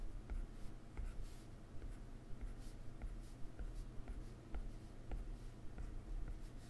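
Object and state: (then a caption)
Stylus tapping a glass tablet screen. A plastic stylus tip taps the toolbar and makes short strokes on a solid iPad glass touchscreen. Soft, irregular clicks and brief scratches sit over a quiet low hum, with bright, faint swishes between the taps.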